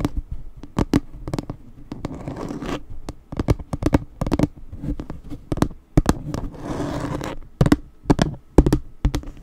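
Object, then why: Plastic sign. A plastic spider sign, held in a different spot, is tapped and scratched in quick, uneven bursts of sharp, dry clicks. Between the clicks come two longer stretches of raspy scraping.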